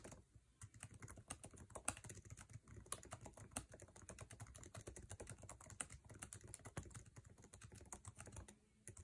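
Fingertips tap fast on a MacBook Air laptop keyboard with plastic keycaps set in an aluminum body, producing a dense run of short, dry clicks with very little ring. The keystrokes come in quick, uneven bursts, each carrying a soft low thump under a bright tick, with a few harder strikes standing out.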